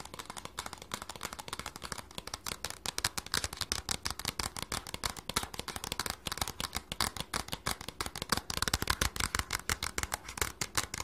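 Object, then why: Small cardboard box. Fingernails rapidly tap and scratch the surface of a small, hollow, red printed cardboard package with a barcode. The result is a dense, fast stream of sharp, dry clicks and scratchy rustles, bright and crisp with almost no ring after each hit, growing slightly louder toward the end.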